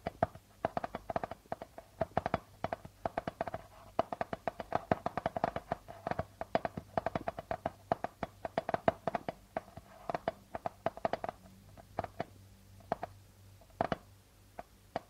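Fingertips and nails tap repeatedly on the plastic membrane of a hollow darbuka drum. The result is a fast, irregular run of short, dry taps with a mid-pitched ring around 660 Hz that dies away almost instantly, over a quiet background.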